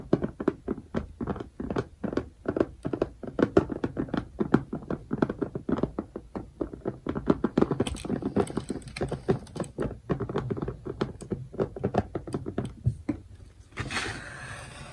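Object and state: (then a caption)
Plastic compartment box tapped with fingernails. Fingernails tap and knock quickly on the lid of a clear plastic bead organizer box, over compartments filled with colored drills. The result is a steady stream of short, dull, woody-sounding clicks and thunks with almost no ring, followed near the end by a brief, brighter hissing sound.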